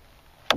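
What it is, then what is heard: Hollow floating shell. A light, hollow-feeling black orb found floating in a lake is slammed once against a canoe to try to break it open. A single sharp, bright knock is heard out of near-silence, with a short tail that sinks lower and dies away quickly. The orb does not break on this hit; it later turns out to be a hollow shell with something dead inside.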